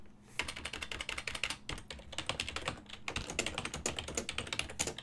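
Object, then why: Plastic computer keyboard. Fingertips type on a full-size silver-and-black plastic desktop keyboard with hollow key switches, producing continuous rapid key taps. The taps are bright and clicky with very short decay. They come in quick bursts with brief pauses, over a faint steady low hum.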